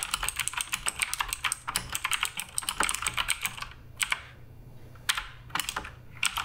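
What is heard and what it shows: Fingertips type on the plastic keycaps of a black RGB Redragon K588 Broadsword mechanical keyboard. They make a fast run of bright, sharp clacks with almost no ring for about four seconds. The typing then thins to a few scattered keystrokes separated by near silence.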